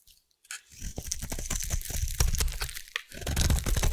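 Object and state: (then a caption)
Bar soap being carved. A metal blade carves a solid pink bar of soap into shavings. After a brief quiet start, a dense run of crisp, crunchy scraping and tearing sounds follows, with bright crackle over a low, rumbling body that grows louder toward the end.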